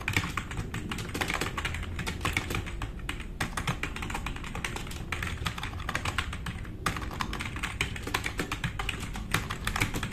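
Fast typing with the fingertips of both hands on a black, RGB-backlit tenkeyless plastic mechanical keyboard with plastic keycaps, resting on a wooden desk. A steady, dense stream of quick clacking keystrokes, each with a low thock and a bright click that stops almost at once, continues for about ten seconds.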